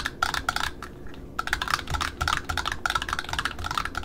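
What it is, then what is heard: Satin ribbon spool with cardboard ends. Long metallic-painted nails tap rapidly on a small, solidly wound roll of black satin ribbon, striking both the ribbon side and the printed cardboard end discs of its spool. The taps are quick, dry and clicky, with a bright upper edge and almost no ring. They come in fast bursts, with a short lull about a second in.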